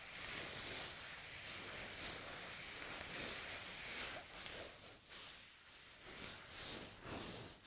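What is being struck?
Nothing is struck.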